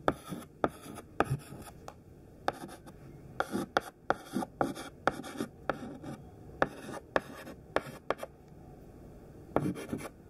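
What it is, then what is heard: Chalk writing on a chalkboard. A thin stick of white classroom chalk, held in the fingertips, writes words on a large flat black chalkboard. Quick, sharp taps and short scratchy strokes come in uneven bursts, with a dry, close sound and almost no ring. Quiet gaps fall between the words.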